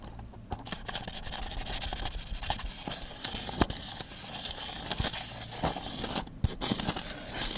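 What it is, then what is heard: Plastic snack tub scratched. An empty blue Mini Oreo cup, hand-sized and made of hollow thin plastic with a paper label, is held in one hand while fingertips and nails rub and scratch along its rim and sides. The result is a steady, bright, hissing scrape broken by many quick sharp clicks and ticks.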